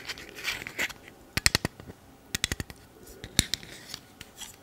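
Fingers with long nails pinch the clip mechanism of a small black plastic camera lens cap and tap it, producing repeated sharp, bright clicks in quick clusters. Each click is dry and dies away almost instantly, with faint scratchy rubbing between them.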